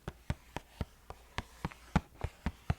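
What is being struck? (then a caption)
Cardboard food box. Twelve soft, hollow taps on a cardboard box of instant oatmeal packets from a pantry, called a good box to tap on. Each tap is a short, low-pitched thud that dies away almost instantly, spaced in an uneven rhythm over a quiet background.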